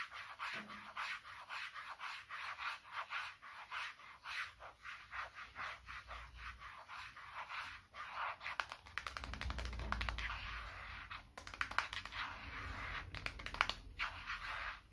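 A small, solid, dark smartphone lying in a palm is tapped and rubbed with fingertips. Soft, rhythmic scratching strokes come first, then give way to denser rubbing with a low rumble and crisp, bright taps.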